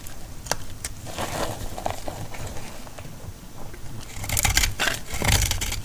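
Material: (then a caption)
Soap. A solid, dry yellow bar of soap held in the hand is cut into crumbly flakes with a metal utility blade. Dry scraping and crackling cuts with bright, crisp transients come in irregular strokes, growing louder and denser toward the end.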